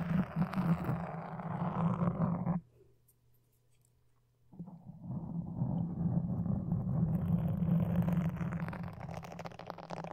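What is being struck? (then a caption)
Foam microphone windscreen. Wooden toothpicks held in both hands scratch and poke a black foam microphone windscreen. This makes dense, muffled, low-pitched rustling and scraping. It stops for about two seconds of near silence, then returns and continues steadily to the end.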